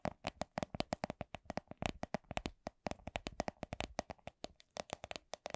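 A small, hollow, clear plastic coin purse with a bunny print is tapped with long nails. The taps are quick and crisp, with a light hollow tone around 640 Hz and very little ring. They come in an uneven slow-to-medium rhythm, about 38 separate taps in under six seconds.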